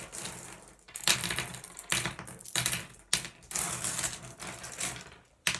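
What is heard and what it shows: Fingertips nudge and slide a spread of small solid blue glass gem pebbles on wood, so the gems click against each other. Bursts of bright, dry clicking and sliding rattle come in waves, each swelling and fading before the next. The clicks are sharp and die away almost at once.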